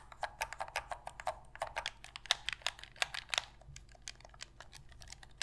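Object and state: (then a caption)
Plastic game controller. Long pink fingernails tap and scratch the hollow hard plastic shell of a black Sony PlayStation controller held in both hands, and press its buttons. The result is a quick, uneven run of short, dry, bright plastic clicks and taps with faint scratching between them, each fading almost instantly.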